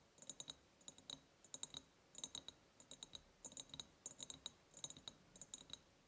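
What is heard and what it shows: Long painted nails tap rapidly on an empty ribbed clear glass jar. The result is quick clusters of bright, sharp clicks with a thin high glassy ring that dies away almost instantly, and very little low end.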